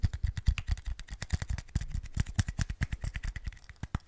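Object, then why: Hard-plastic earbuds charging case. A small, hollow, white hard-plastic earbuds charging case is held in the fingers close to the microphone and handled with fingertips and nails, likely tapped with its lid clicked open and shut. The result is a rapid, irregular stream of short, dry clicks and taps, each with a thumpy low-end knock and a faint bright tick.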